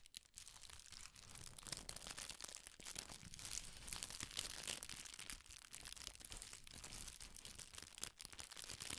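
A sheet of red tissue paper is gathered in the fingers and crinkled with the fingertips, partly out of frame by the end. It gives a steady, dense stream of soft, bright crackles and rustles, quiet overall, with the crinkling running on without a break.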